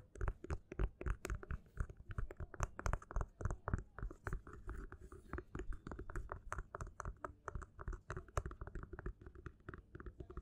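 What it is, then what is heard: Paperback book being scratched. Fingernails scratch the side edge and spine of a held black paperback book with a textured cover, then move to its front cover. The result is a quiet run of quick, irregular scratching strokes with soft, dull low thuds underneath and brief bright rasps on top.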